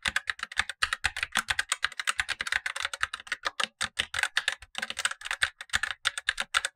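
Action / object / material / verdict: tap / plastic mechanical keyboard / plastic / none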